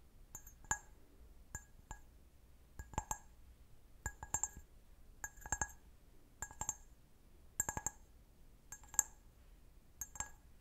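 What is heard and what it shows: A clear, hollow, empty stemmed glass goblet, held sideways, is tapped and scratched with long nails on its base and bowl. Bright, high clinks come in quick clusters, each dying away almost at once, over a quiet background.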